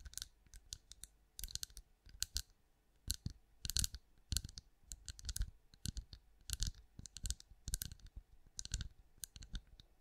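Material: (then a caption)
Wax. Long acrylic nails tap quickly on a hand-sized, cream, pinecone-shaped wax candle that appears solid. The result is quiet, dry, bright clicks with almost no ring, coming in irregular clustered bursts over a soft low thump.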